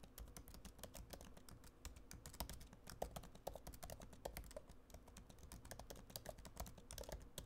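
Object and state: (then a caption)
Laptop keyboard being typed on. A MacBook Pro laptop keyboard, plastic keys set in an aluminum body, is typed on with fingertips. Quick, soft clicking keystrokes follow each other steadily, each a short tap with little ring and a dull low thump beneath.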